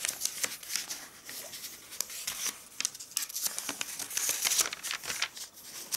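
An open glossy-paper AVON catalog (the 4/2019 issue), turned to the clothing section, is rubbed with fingertips, and then fingers with red nails lift and flip its pages. The result is a steady stream of soft, bright, crisp rustles and crinkles with many quick flicks. There is almost no low end.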